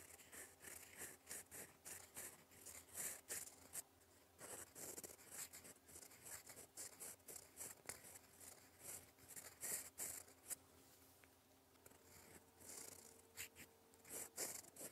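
A gold fountain pen nib scratches across a flat sheet of lined cream paper in cursive strokes, writing in black ink. The sound is a quiet, bright, papery scratching in quick bursts, with short pauses between strokes and a faint steady low hum underneath.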